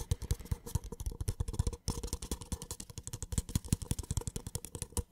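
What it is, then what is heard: Paper cup. A small, empty white paper cup is held sideways while fingertips tap and scratch along its hollow wall. The result is a fast, continuous run of soft, dull taps with faint scratchy texture between them, deep in tone with little brightness. There is a brief pause near the middle.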